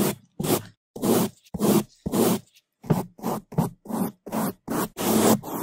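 Bamboo toothbrushes held in gloved hands scrub the top and sides of a black foam microphone windscreen. About thirteen quick, loud, scratchy brushing strokes come in an uneven rhythm, each a broad rustling burst that reaches from a low thump up into a high, bright hiss. Short silent gaps separate the strokes.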